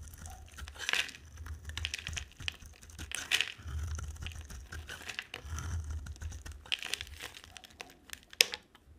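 A hand with long nails carves a dry, solid green bar of soap with white stripes and a black outer layer, scraping it with a utility-knife blade as green curls fall away. The scraping makes bright, crisp crinkling and crunching sounds in uneven bursts, with soft low rumbles underneath. A sharp click comes near the end.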